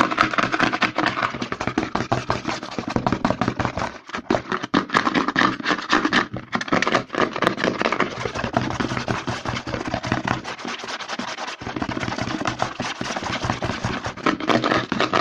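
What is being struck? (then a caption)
Plastic lotion bottle. A white plastic CeraVe lotion bottle is held upside down while fingertips and short nails tap and rub its label and embossed side. Fast, dense clicks and scratchy rubbing follow one another almost continuously, with brief dips in the activity around 4 and 11 seconds.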